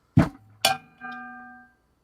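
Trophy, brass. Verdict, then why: Real metal. A metal trophy, judged by ear to be brass rather than plastic, is thumped twice, giving two dull knocks with a low body and a bright edge. A steady, faintly ringing metallic tone follows and fades out over about three quarters of a second.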